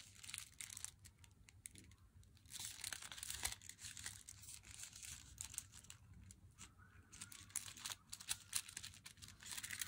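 An unopened, glossy flat cardboard box of Meiji Black Chocolate is held in the hands while long nails tap and scratch its front and long side edge. The sound is a quiet, bright stream of crisp taps and rasping scratches with crinkly texture. Many short clicks are heard throughout, with a faint low hum underneath.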